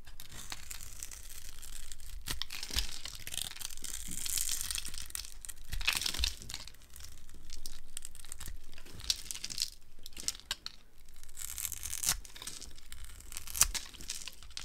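A metal blade carves a dry, solid green soap bar scored in a grid, resting on a wood-pattern surface, cutting it into crunchy sticks. Steady bright, crackling scrapes and crumbling come in waves, punctuated by sharp, short cracks as pieces break away.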